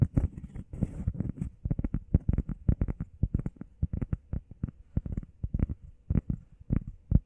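Long painted nails and fingertips tap and scratch fast on a flat, solid, hand-sized grey textured EVA foam workout pad shaped like a heart. The opening second brings brushy scratching with a faint bright hiss. It then settles into a rapid run of soft, dull, low thumps that stop instantly, with no ring.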